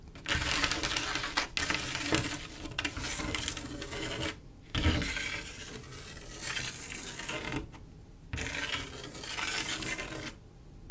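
Long acrylic nails trace and scratch across a flat panel of silver mirror-glass mosaic tiles set in grout. The result is a dense, bright, gritty scraping with clicky ticks as the nails cross the tile edges. The sound comes in several sustained passes separated by brief quiet pauses.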